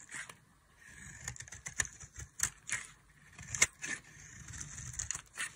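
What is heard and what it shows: A solid bar of dry white soap, held in the hand, is carved with a metal blade that breaks off chunky flakes. Bright, crisp scraping and cutting sounds come in irregular bursts, with short dry snaps as the flakes break away and no ringing afterward.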